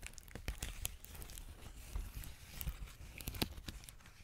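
Fingertips and nails press and crinkle a large clear plastic bubble wrap sheet held up close to the mic. The result is a soft, continuous crinkling and tearing-like rustle with low handling thumps, dotted with sharp, bright crackling clicks.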